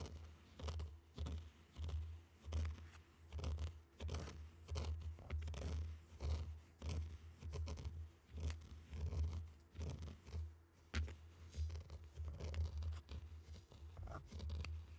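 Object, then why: Tray of fine sand raked with wooden sticks. Round wooden sticks are pushed and dragged through a tray of loose, dry, fine pink and orange sand, scraping the grains. Soft gritty scrapes and swishes repeat at an uneven pace, each stroke rising and fading quickly over a steady low hum.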